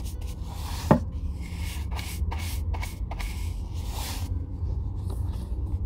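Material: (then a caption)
Leather. A Red Wing Weekender Chukka, an oiled leather chukka boot held in hand, is brushed with a wooden-backed bristle shoe brush in repeated rubbing strokes. Soft, airy bristle swishes sweep across the leather over a steady low rumble, with one sharper knock near the start.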